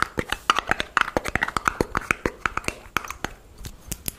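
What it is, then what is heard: Small clear jar tapped with fingernails. Long nails and fingertips tap and scratch a small, empty clear plastic jar with a red screw lid, held in both hands. About 26 quick, sharp, bright clicks with almost no ring carry a hollow tone near 1.3 kHz, with faint scratchy rasps between the taps.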